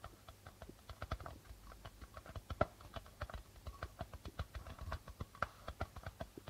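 Fingertips tap quickly on the plastic head of a hollow darbuka drum, producing a rapid run of about 33 soft, short taps. Each tap has a low thump and a hollow midrange tone, dying away almost instantly. A couple of taps stand out louder and sharper than the rest.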